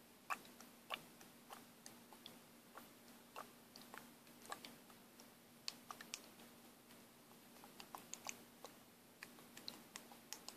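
A small plastic paint bottle is shaken by hand, and the mixing ball inside rattles in quick, irregular bright clicks and taps. The clicks sound dry and short over a quiet, steady low hum.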